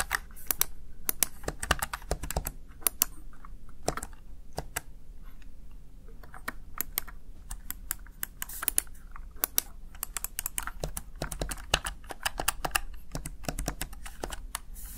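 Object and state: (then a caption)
Plastic gaming keypad. A small, hollow, backlit plastic Razer Tartarus Chroma gaming keypad has its keys pressed with fingertips and long nails in quick, uneven typing taps. Each tap is a sharp, bright click that dies away almost at once, over a steady low rumble. Some brief pauses break up the flurries.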